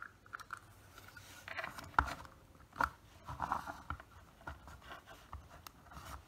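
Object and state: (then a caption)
Plastic PVC figure. Fingernails tap and scratch the surface of a small solid plastic (PVC) anime figure standing on a black plastic base. Quiet, short clicks with a hard midrange tone near 1.4 kHz are scattered among soft scraping rubs, with a few sharper taps standing out.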